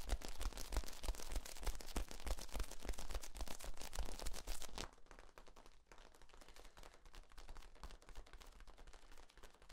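A long, hollow, ribbed yellow corrugated plastic tube is stretched out and bent in both hands while fingertips work along its ribs, making them pop and creak. Dense, rapid, bright crackling pops run loudly for about the first five seconds, then drop to a quieter, sparser clicking and creaking that continues to the end.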